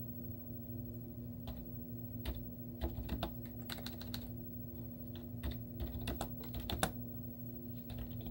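Long teal-painted nails and fingertips type rapidly on a white plastic laptop keyboard with cartoon stickers on its hollow keys. The result is a quick string of light, hollow clicking taps over a steady low hum.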